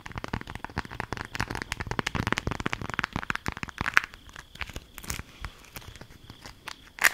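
A folded, patterned green beeswax-coated fabric food wrap is held in the hands and crinkled and scratched with long acrylic nails. The result is a dense run of short, dry crunches and crackles, busier in the first four seconds and sparser after, with a sharper snap near the end.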